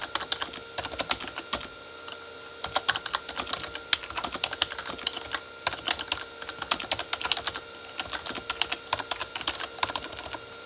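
Both hands type with their fingertips on a full-size Corsair K35 plastic mechanical keyboard with red-backlit plastic keys. Rapid, bright, sharp clicks come in uneven bursts with a brief pause near the two-second mark, and each keystroke dies away almost instantly. A faint steady tone hums underneath throughout.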